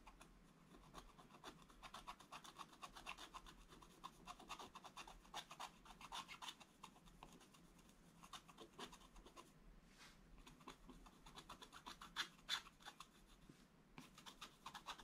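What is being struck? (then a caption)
Scratch-art paper scratched with a wooden stylus. A wooden stylus scratches small areas of a black coated scratch-art paper page with quick back-and-forth strokes. The soft, dry scraping is bright and rasping, coming in irregular bursts of about three strokes per second with brief pauses between them.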